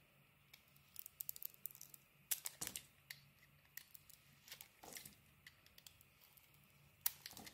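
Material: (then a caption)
Soap. A metal blade scrapes and cuts slices off a solid, pink, textured, palm-sized bar of soap held in the hand. The sound is a quiet series of short, crisp, bright scratches and clicks that end quickly, with a faint low hum in the background.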